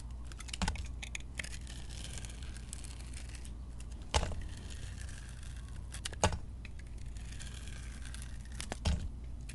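A metal blade shaves slices off the surface of a solid, hand-sized rectangular white soap bar coated in gold glitter, held in the palm, with scraping cuts. The result is a steady, dense crackle of fine, bright, crisp scraping over a soft low hum. Four louder, sharper cuts stand out along the way.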